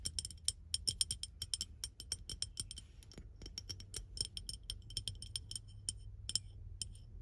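Painted fingernails tap and scratch a clear, medium-sized, hollow, empty glass bottle held in front of a truck's steering wheel. Rapid, bright clinking taps ring briefly at high pitches over a faint low rumble.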